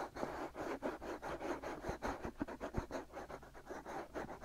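Fingertips and short nails scratch steadily across the white soft silicone ears of a black binaural microphone. The result is a close, dense series of rough scratching strokes that swell and fade in quick succession, with occasional low thumps from contact.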